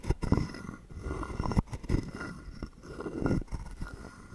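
A wooden stick is scraped along the ridged back of a hollow carved wooden frog guiro held in hand. Quiet, low, hollow rasping strokes come in short bursts, each a quick run of dry clicks that stops almost at once with no ring.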